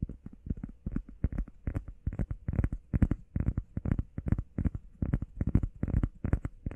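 Fingernails tap quickly on a heart-shaped foam workout pad. The taps come in rapid, uneven bursts, each soft, dull and low-pitched, fading almost at once with no ring.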